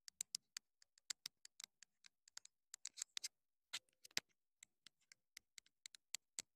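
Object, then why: Small plastic clip-on microphone transmitter. Long nails tap quickly on the casing and top of a small, hollow, black plastic clip-on wireless mini microphone transmitter. About 29 quiet, dry, bright clicks come in an irregular, rapid pattern, with almost no low end and no ring after each tap.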